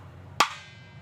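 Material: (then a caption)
Mango wood. A single tap on a mango wood dhol drum shell produces a sharp, bright knock centered around 1.1 kHz. Faint high overtones hang on and fade over the next half second. The shell gives a ringing, resonant tone, as a good wooden drum shell should.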